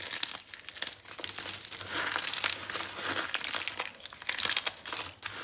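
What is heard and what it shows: Both hands crush and rub a pile of dry, crumbly red and cream bar soap chunks and powder with fingertips and palms on a green glitter surface. A steady, bright, grainy crinkling runs throughout, broken by many sharp, dry crackles and crunches with no low end and no ring.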